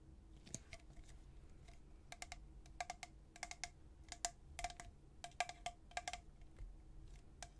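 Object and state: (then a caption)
Stainless steel tumbler. A tall, hollow, white-coated stainless steel travel tumbler with a black plastic lid is held upright in one hand and tapped by the fingertips and nails of the other. The light, irregular taps each give a short, chime-like ring around 710 Hz with bright clicky tops over a quiet, low background.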